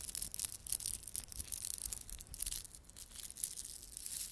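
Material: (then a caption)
Plastic. A small clump of plastic beaded garland, with glossy dark blue and silver solid plastic beads and red spiky plastic fringe, is held in both palms while fingertips rub and squeeze it. This produces a quiet, continuous stream of bright, dry clicking and crinkling with short, rapid ticks and no ringing.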